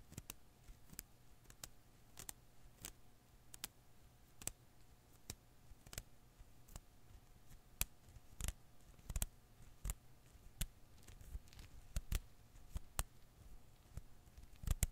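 A hand-sized blue and green rubber-filament Koosh ball is held in one hand while the fingertips of the other hand pluck and snap its strands. About 25 quiet, dry, bright snaps and clicks ring out at irregular intervals over a low, steady hum, each dying away almost instantly.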